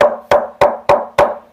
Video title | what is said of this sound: tweeter cabinet, এর দাম জানতে ফোন করুন WhatsApp করুন 9046483383 | আবার এটা শুনতে পাচ্ছেন, খুব সুন্দর প্লাই দিয়ে করেছে।